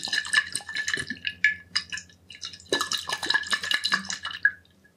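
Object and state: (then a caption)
Glass bottle partly filled with liquid. A medium glass liquor bottle with a yellow label and a metal screw cap, partly filled with liquid, is held in both hands, tilted, and tapped and rubbed with the fingertips. Quick, dense fingertip taps produce a bright glassy ring near 1.7 kHz that fades almost at once, mixed with soft rubbing and faint sloshing. The tapping pauses briefly in the middle, then resumes and trails off at the end.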